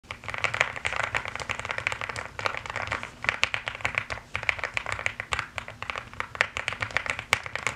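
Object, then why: Mechanical keyboard with plastic keycaps. Fingertips with long painted nails type fast on a full-size mechanical keyboard with pink and white plastic keycaps, set on a purple mat. A dense, steady stream of sharp, bright plastic clicks and clacks overlaps with almost no ring, centered around 2 kHz, with occasional louder key strikes standing out.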